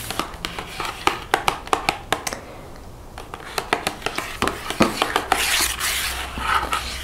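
Long white-painted fingernails tap and scratch a flat, thin cardboard Lindt chocolate sleeve with the bar still inside, held on a wooden table. A run of quick, bright taps comes first, then a brief quiet pause. More taps follow and blend into a hissy, high scratching toward the end.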